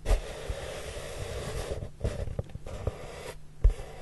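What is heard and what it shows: Fingertips with short nails rub across the surface of a large, flat, brown, hollow corrugated cardboard box. The result is a soft, continuous, low, papery brushing with breaks in the rubbing and a few brief, louder dull bumps.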